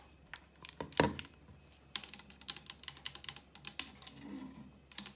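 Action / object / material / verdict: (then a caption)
tap / hard plastic blender bottle / hard plastic / none. An empty, hollow Blend Active personal blender bottle of clear hard plastic, about 25 cm long, lies on its side on a counter with its black lid/base and is tapped and scratched with long acrylic nails. Light, bright clicking taps come in quick, uneven bursts, with one sharper, louder tap early on and a soft scratching rustle between them. Each tap dies away almost at once.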